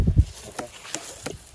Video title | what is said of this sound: АРБУЗЫ! Как правильно выбрать спелый арбуз. Совет профессионала. | this watermelon has moderately loud or moderately hollow sound.